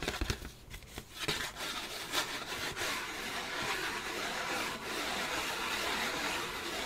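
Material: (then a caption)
Paper. A thin, flat, white printed disposable paper plate is rubbed slowly with the fingertips across its surface and rim. A soft, dry, papery scratching starts with a few light brushing strokes, then settles into a steady, bright rubbing hiss that keeps going to the end.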